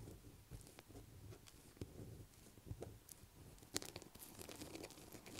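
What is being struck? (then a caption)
Solid bar of soap. A light blue solid bar of soap lying on a table is scratched with long black acrylic nails. The result is quiet, dry scratching and crinkly crackles, with short sharp clicks and soft low thumps scattered through, one brighter snap standing out near the end.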